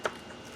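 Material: Baked dough.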